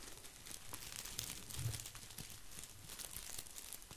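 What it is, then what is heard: Artificial plastic boxwood ball. Fingertips scratch and brush across an artificial plastic boxwood ball, producing a continuous bright, crinkly rustle of plastic leaves. Quick scratchy bursts overlap at a steady soft level, with a faint low hum underneath.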